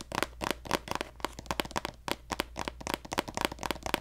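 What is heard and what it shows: A hollow pink plastic lotion squeeze tube with a gold cap, held horizontally, is tapped with fingertips and nails. Eighteen short, dry, hollow taps arrive in an uneven rhythm, each a brief plasticky click with a midrange body and bright edge that dies away instantly.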